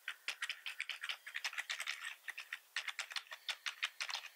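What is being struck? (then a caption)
Plastic computer keyboard. Both hands type quickly with their fingertips on a black plastic membrane-style computer keyboard with a hollow body. About 27 short, dry, bright clicks and clacks in rapid succession, centered around 2 kHz, with no low end and almost no ring after each keystroke.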